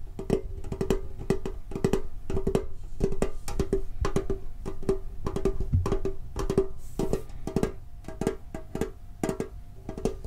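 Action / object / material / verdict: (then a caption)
tap / metal card tin with lid / tin-plated steel / none. Fingertips tap on the lid and sides of a hollow, red and blue printed metal Pokemon card tin with a lid. The taps come in a quick, uneven stream of dry, short knocks, each with a brief hollow metallic ping around 390 Hz over a soft low thud.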